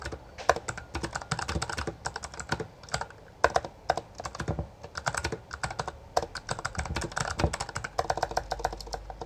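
Both hands type continuously with their fingertips on a full-size black plastic Bloody B820R mechanical gaming keyboard with backlit keycaps and a hollow housing. The keys give a fast, uneven stream of short, clacky midrange clicks with occasional louder strikes. Each stroke dies out almost instantly, with no ring.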